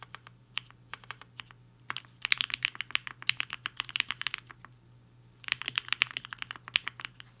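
Fingertips of both hands type fast on a compact HI-FINGER 7.5 mechanical keyboard with a black case and white and pink plastic keycaps, resting on a desk mat. Quick, bright, sharp keystroke clacks come in dense bursts with a brief pause in the middle, each tap dying away instantly over a faint low hum.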